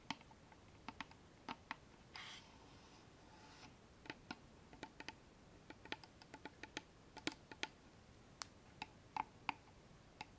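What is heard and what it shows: A small hollow wooden box with a metal latch is held in the hands and tapped rapidly with long nails and fingertips on its lid and front face. Around thirty sharp, dry clicking taps ring very briefly, broken by a soft scratchy rustle lasting about a second and a half.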